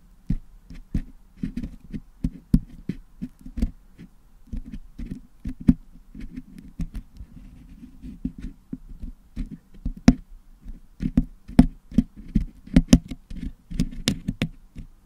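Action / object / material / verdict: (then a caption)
scrape / metal mesh microphone grille packed with putty, picked with a wooden toothpick / metal mesh / none. A wooden toothpick picks and scrapes red and blue putty out of the hollow metal mesh dome of a Blue Yeti microphone, cleaning the putty from the grille. Dense, close, low-heavy scratching and soft tapping is heard, punctuated by sharp, dry clicks with bright edges that stop almost instantly.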